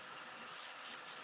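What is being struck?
Nothing is struck.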